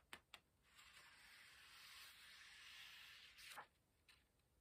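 Two light ticks, then a long, soft, airy hiss of fingertips rubbing paper pages, ending in a crisp flutter.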